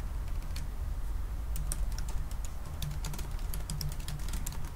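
Both hands type fast with their fingertips on the black plastic keys of a silver aluminium laptop. Quick, bright key clicks patter in rapid, uneven bursts over a steady low hum.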